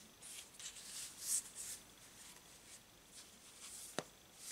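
A hand-sized Thoth Tarot deck of coated paper cardstock cards, held as a solid stack in both hands, is overhand-shuffled with the fingers so the cards slide and rub against each other. Quiet, bright, airy rustling and hissing swishes come in uneven bursts, with one louder swish early on. Near the end there is a single short, sharp click.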